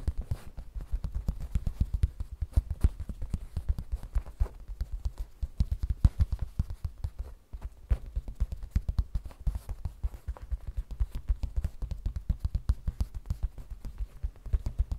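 Long red fingernails tap and scratch a small, hollow, soft zippered cosmetic pouch of glossy printed vinyl or coated fabric resting on a table. The result is a steady stream of rapid, soft, low, dull thuds with almost no ring, broken by a brief pause midway.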